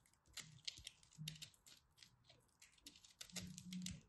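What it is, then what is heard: Pressed soap shavings ball. A utility knife blade repeatedly scrapes and cuts into the surface of a hand-sized solid ball of pressed pastel soap shavings, held in hands with red nails. The result is a quick run of short, dry, crumbly carving crackles that are bright and high, with soft low thuds underneath.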